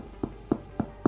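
Four dull, low knocks on the underside of a cooled sourdough loaf that was baked for only 35 minutes and is underbaked. Each knock is short and muffled, with no bright ring. The dull sound is easily mistaken for hollow, and the loaf has a soft, spongy crust.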